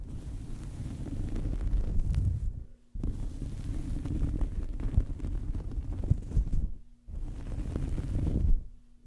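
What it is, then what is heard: Cloth towel scratched over a microphone. A small fabric towel draped over a microphone is scratched with fingernails and rubbed with fingertips, producing a dense, muffled, low rumbling scrape. The sound comes in three long bursts, each ending in a brief near-silent pause where a faint steady low hum remains.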